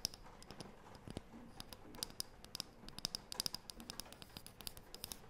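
Long painted nails scratch, rub and tap a small, flat, round, light wooden disc with an engraved design, held in both hands. The result is a quiet, rapid run of dry, bright clicks and scratchy ticks over a soft rustling bed, each tap stopping almost instantly with no ring.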